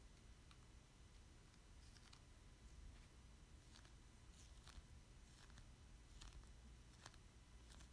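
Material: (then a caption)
Plastic. Fingertips tap and rub a thin, solid plastic Squid amiibo card held in the hands, and the card is turned sideways at the end. The sound is a series of faint, sharp plastic ticks and light scratchy rubs spread across the clip. A steady low hum runs underneath throughout.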